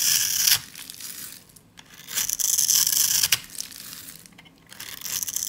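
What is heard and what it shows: A solid, dry lilac soap bar held in the hand is scraped and cut with a utility blade, shaving off powder and small chips. Bright, dry scraping and crunching comes in bursts: loud at the start, again from about 2 to 3.3 seconds with a sharp snap near the end of that stretch, and rising again at the close, with quieter rasping in between. There is almost no low end.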